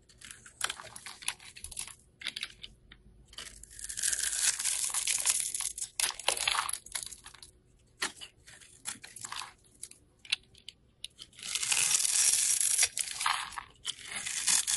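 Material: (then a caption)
Soap. A craft knife blade scrapes and cuts thin slices from the surface of a small, solid yellow soap bar held in the hand. Irregular bursts of dry, crisp, bright scraping alternate with short clicks and pauses, with longer continuous shaving strokes in the middle and near the end.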